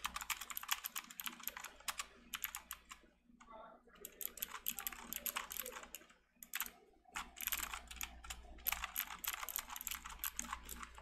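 Both hands type rapidly with their fingertips on a full-size backlit plastic mechanical keyboard with round typewriter-style plastic keycaps, resting on a desk mat. Bright, sharp key clicks and taps come in dense bursts, with brief lulls around the middle. A faint steady low hum sits underneath.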